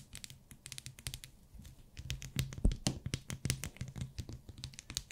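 A small solid pink glycerin soap bar wrapped in plastic is held in the fingers while long nails tap and scratch it. Quick, dense taps and crinkly scratches overlap with a soft low thump underneath, and bright clicks flicker through.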